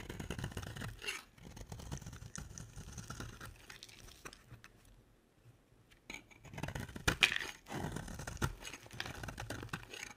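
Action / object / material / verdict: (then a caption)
scrape / bar of soap / soap / none. A utility knife blade carves a dry, solid pink bar of soap in scraping strokes, making crisp, bright scratching and shaving sounds. The scraping pauses briefly near the middle, then resumes louder with sharper strokes.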